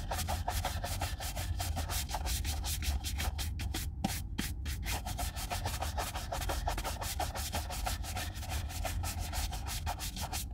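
A brown leather Red Wing Weekender Chukka boot, hollow and held in one hand, is brushed vigorously with a wooden-backed horsehair brush. Rapid back-and-forth strokes make a steady, bright, scratchy swishing over a low, dull body, with a brief break around the four-second mark.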